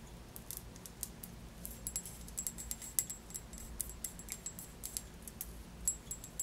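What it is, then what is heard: Glass liqueur bottle tapped with nails. Long nails tap repeatedly on a tall glass bottle full of orange Melonat liqueur with a paper label, held in the hand. The result is a quiet, irregular run of quick, bright clicks with a faint high glassy ping that dies away almost instantly, over a low steady hum.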